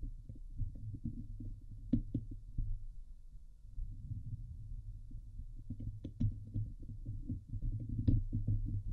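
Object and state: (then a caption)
Metal mesh microphone grille being scratched. Long nails scratch the hollow steel wire-mesh dome grille of a Blue Yeti microphone, producing a dense, muffled low rumble of scraping with a throbbing, irregular texture. Occasional sharper clicks and scrapes cut through with brief bright edges before fading quickly.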